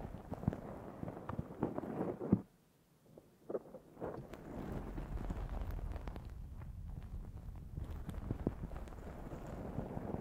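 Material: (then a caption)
Foam. Long fingernails on both hands scratch a black foam windscreen fitted on a Zoom H6 recorder, making a dense, muffled, bassy scratching and rustling. The scratching drops to near silence for about half a second after two seconds in, then resumes with a few sharp scrapes and settles into a steady, continuous scratch through the end.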